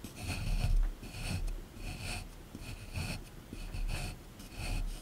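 A small chisel tool held in the fingers scrapes and chips at a solid plaster block sitting in a tray. Repeated gritty scraping strokes rise and fade in a steady rhythm, each carrying a bright hiss over a soft low rumble.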